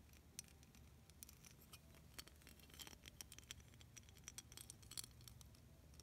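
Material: Plastic.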